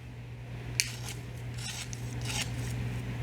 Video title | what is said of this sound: Air Fryer Chicken Taquitos - Easy and Delicious Weeknight Dinner | listen to how crispy these are